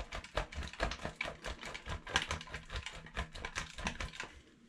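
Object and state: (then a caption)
Bar soap grated on steel grater. A solid yellow bar of soap is rubbed fast by hand over a stainless steel box grater, leaving yellow shavings on the holes. It makes a rapid string of short, dry scraping strokes with a bright, gritty crunch and a soft low thump beneath. The strokes ease off and fall quiet in the last half second.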